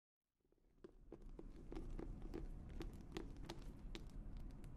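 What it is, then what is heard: Leather-bound notebook. A hand-sized notebook with an embossed reddish-brown leather cover, held in both hands, is tapped and scratched on its cover with long nails. Quiet, irregular clicking taps come about three per second over a soft, low, rustling bed that swells in during the first second and then stays steady.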